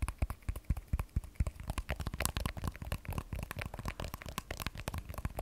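An iPhone 12 Pro, a solid hand-sized phone with a matte glass back and steel frame, is held sideways in both hands and tapped with long manicured nails. The result is a quick, irregular flurry of short, dull clicks and taps with a soft low thump under each one. Each tap dies away almost instantly.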